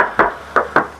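Three knocks on the side body panel of a used 2021 Xpander Ultimate give short, solid taps that die away quickly. The panel is original, unrepaired steel sheet metal with no body filler, and it sounds solid and heavy.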